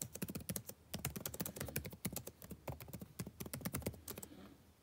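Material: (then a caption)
Plastic. Fingertips type steadily on a backlit laptop keyboard with plastic keys, producing a rapid run of short, light, clicky taps with a soft low thump and a bright click. The typing continues unevenly for about four seconds, then stops and trails off into quiet.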